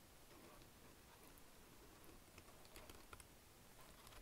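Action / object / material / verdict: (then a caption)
tap / plastic keyboard / plastic / none. Fingers type continuously on the keys of a black plastic wireless chiclet keyboard. Soft, bright plastic key clicks patter quietly over a steady low background hiss, with a few slightly louder taps along the way.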